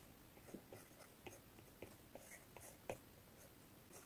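The plastic tip of an Apple Pencil taps and strokes across the glass touchscreen of an iPad in a blue case, lying flat on a wooden table while drawing. Quiet, irregular clicks with short bright ticks stand out over a soft scratchy hiss, each click dying away almost instantly.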